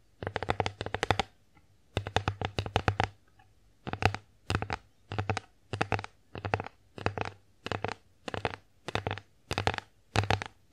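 Long acrylic nails tap and scratch the face of a solid, flat, bear-shaped wooden (bamboo-like) children's divided plate held upright in both hands. Two long runs of rapid clicking taps give way to short, evenly spaced bursts of quick taps with quiet gaps between. Each tap is a dry, bright click over a soft low knock that dies away almost instantly.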